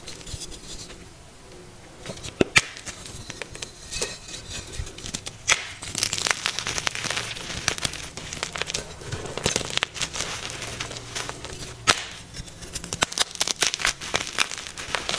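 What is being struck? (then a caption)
Magnesium carbonate gym chalk block. Pieces of a solid, soft white magnesium carbonate gym chalk block are crushed and squeezed between fingers and palms, with long pink-nailed fingertips pressing into the chalk. The sound is a dense, bright crackling and crumbling, broken by a few sharper snaps as the chalk gives way.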